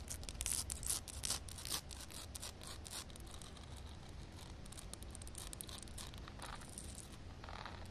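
Long painted nails tap and scratch on a wet concrete slab, solid concrete under shallow water. Quick bright clicks and crisp scrapes are loudest in the first two seconds, then settle into steady, softer scratching over a low rumble.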